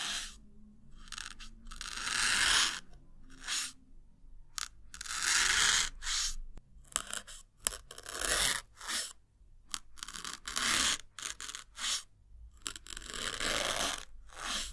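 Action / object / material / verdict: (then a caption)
scrape / melamine foam block / melamine foam / none. A small white block of solid melamine foam sponge, held in the fingertips, is repeatedly stabbed and pierced with a thin metal needle. Each push gives a dry, crunchy, scraping tear concentrated in the high, bright range, with little low end. The bursts come irregularly and stop dead between strokes.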